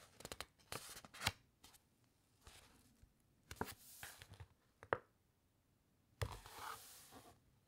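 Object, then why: Thick paper book pages. A long fingernail scratches along the printed, uncoated paper pages of a thick open paper encyclopedia, and the pages are turned. Dry, papery scratches and rustling swishes come in irregular bursts with sharp crinkly snaps, separated by quiet pauses.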